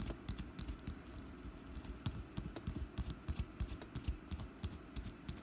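Long black nails tap rapidly and unevenly on the side of a small, solid orange wax pumpkin candle resting on a table. Each tap is a short, dry tick with a dull low thud beneath a bright clicky edge. The taps come in quick, irregular bursts over a quiet background.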